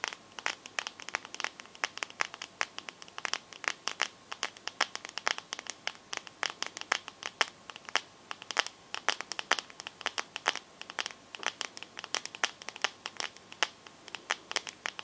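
Long nails tap and scratch the glass back of a teal smartphone held sideways. Rapid, bright, crisp clicks come in an irregular stream, with faint scratchy rubbing between taps and no low end. Each tap dies away almost instantly.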